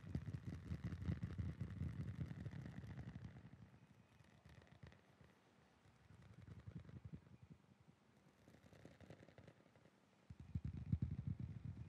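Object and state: Novelty licence plate.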